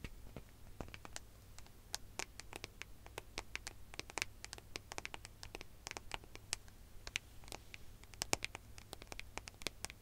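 Long fingernails tap and scratch across the gold metallic back of a smartphone held flat, producing quick, bright, irregular clicks and scratchy strokes over a low, steady background hum. The sound stays quiet throughout, with each sharp tick dying away almost instantly.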